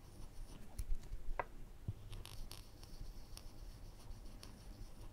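A woodburning pen's wire tip is scratched along the lines of the glasses on a skull drawing burned into a flat, thin plywood panel. Quiet, dry scratching and brief bright ticks sit over a low, steady hum, with one sharper scrape standing out near the start.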